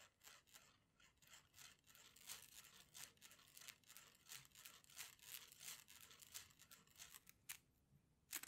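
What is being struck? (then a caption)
Plastic coil spring toy. A rainbow plastic slinky, a hollow coil, is stretched and compressed by fingers so its coils clack together. The result is a quiet, irregular stream of short, bright, crisp clicks and rattles that die away almost instantly, with a louder burst of clacks at the end.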